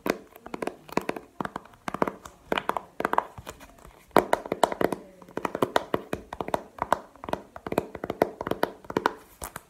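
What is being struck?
Plastic game case.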